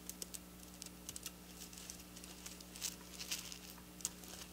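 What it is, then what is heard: Plastic sequin fabric. Long black nails tap rapidly on silver plastic sequin fabric in a quick, typing-like motion, making a stream of soft, bright, crisp clicks and light rattles. The taps are short and dry with almost no ring, over a steady low hum in the background.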